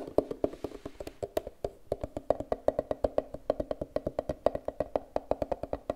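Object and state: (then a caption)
Plastic hard case. Long red nails tap quickly and steadily on a closed, hollow, rounded turquoise hard-plastic case about the size of a glasses case, held above a wooden table. About 43 short, dry, hollow clicks with a woody tone around 600 Hz die away almost instantly, with no ringing.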